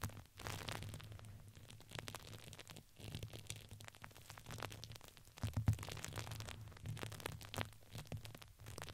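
Hands squeeze and crinkle a red patterned fabric ring with crinkly filling. Dense crackling and rustling spreads bright across the range over a steady low hum, swelling louder around the middle of the clip before easing back.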